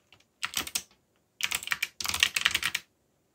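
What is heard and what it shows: Fingertips type fast on a mechanical keyboard with black plastic keycaps and a yellow backlight. Three quick bursts of bright, dry clacking keystrokes sound with almost no low end, each click cut off sharply, and short silences between them.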